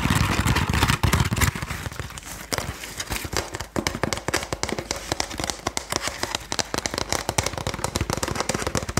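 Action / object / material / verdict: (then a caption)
tap / woven wooden sticky rice basket / woven wood / none. A woven wooden Thai sticky rice basket is tapped and scratched with rapid, irregular taps. Early on a louder rustling scratch with low body fills the sound, then crisp, short clicks with bright edges follow quickly and die away almost at once.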